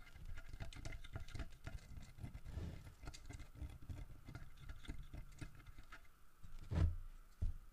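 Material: Wood.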